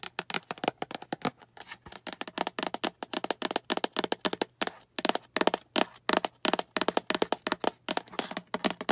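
Long acrylic nails tap and scratch a small, hollow, translucent green plastic storage box, which is tilted to show its sides and bottom. The result is a rapid, uneven run of dozens of short, dry, clicky taps with a bright edge and almost no ring, over a faint steady low hum.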